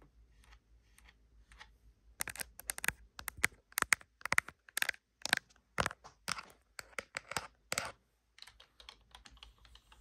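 Long blue acrylic fingernails tap and type on the hollow plastic keys of a black plastic computer keyboard. Faint, scattered taps give way to bursts of sharp, bright clicks from about two to eight seconds, then the sound softens into light tapping again.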